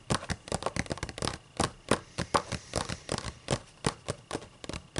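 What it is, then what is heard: Paper book pages. Long matte nails rub and scratch across the white paper pages of an open book. It makes a quick series of short, dry, papery scratches and rustles, each dying away at once with no ring, in a close, quiet setting.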